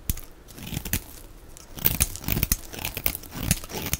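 A knife blade shaves and scrapes a solid, palm-sized white oval bar of dry soap with a blue outer layer and a ridged flower-pattern top, held in the hand. Quick dry crunches and crisp, bright scraping strokes come in an irregular series, each cutting off almost at once, with a soft low rumble between them.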